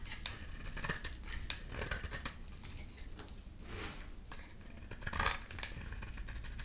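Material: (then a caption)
Soap. A utility knife blade shaves curls off a solid, rectangular, amber bar of dry soap held in the hand. Crisp scraping and cutting strokes come with sharp, bright clicks and short rasping bursts over a low, steady background rumble.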